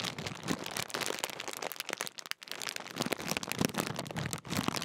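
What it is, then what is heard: Metallised plastic crisp packet. Fingertips crinkle and fold a large Walkers sharing-bag crisp packet made of thin, foil-lined metallised plastic film. The result is a dense, continuous stream of sharp, bright crackles and rustles, with a brief near-silent pause midway before the crinkling resumes just as busily.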